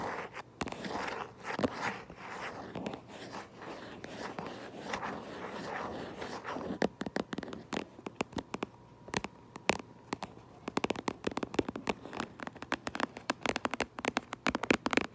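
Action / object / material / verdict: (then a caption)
tap / printed cardboard box / cardboard / none. Fingernails trace over the printed image on the front of a cardboard Minecraft Lego box for about six seconds, making a soft, dense scratching rustle. They then switch to quick, dry, sharp taps on the same box, clustered in irregular bursts through to the end over a faint low steady hum.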